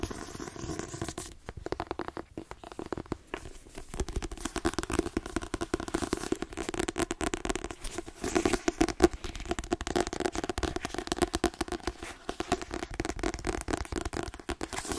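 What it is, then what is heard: Paperback book tapped with nails. Long fingernails tap rapidly on the card cover and spine edge of a white paperback book held in the hands, its pages a solid paper block. A dense, continuous stream of short, dry clicks and light scratchy taps, with a low papery thud underneath.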